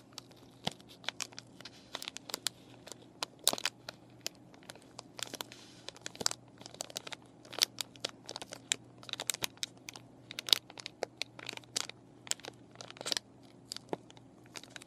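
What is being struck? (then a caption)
Clear plastic and cardboard paintbrush package. Long nails crinkle and scratch a clear plastic and cardboard paintbrush package with brushes inside. The result is a dense run of sharp, bright crackles and scratchy taps that stop instantly without ringing, over a faint steady low hum.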